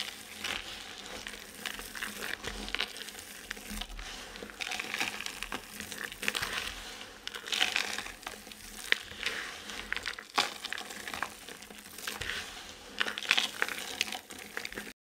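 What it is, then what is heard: Dry soap shavings being crushed. Hands with painted nails grip and squeeze a handful of dry soap chips and shavings, crumbling them between the fingers. A dense, continuous bright crunching and crackling is heard, with quick crisp snaps rising out of the steady rustle of rubbing flakes and little low-end weight.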